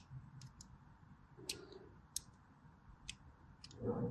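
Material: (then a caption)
Soap. A blade carves diagonal lines into a solid white DURU bar soap held upright, making short, bright, crisp scraping clicks spaced irregularly over a low, quiet background rumble. Near the end, a louder, fuller scraping burst swells up.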